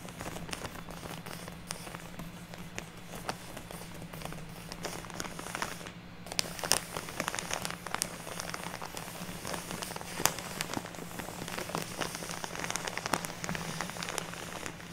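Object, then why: Soft plastic bag filled with fake snow fiber. Long natural nails tap and scratch a large, soft plastic bag with a purple print, full of fluffy white fake snow fiber and lying on a wooden table. The result is a dense, crinkly crackle of quick, sharp taps and rustling scratches over a steady low hum.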